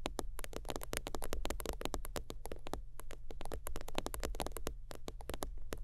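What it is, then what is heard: Faux-leather zip wallet. Long almond-shaped teal acrylic nails tap and scratch across a long rectangular holographic, iridescent faux-leather zip wallet lying flat on leopard-print fabric. A rapid stream of short, crisp clicks with bright edges rides over a steady low hum, with scratchy rustles between the taps.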